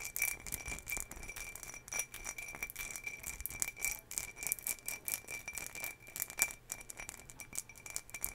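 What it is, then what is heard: Ribbed glass jar scratched with fingernails. A hollow, empty ribbed green glass jar is held near the mic and scratched along its ribs with long fingernails. The result is a continuous run of fast, dry, bright scratching clicks over a steady high glassy ring of about 2.3 kHz, with little low end.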